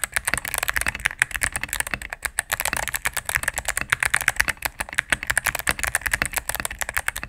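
Fingertips and medium-length nails type rapidly on a cream full-size mechanical keyboard with plastic keycaps on a solid plastic case. The keys give a steady stream of short, crisp clacks with a bright plastic click centred near 1.6 kHz and very little low end. Each press dies away almost instantly.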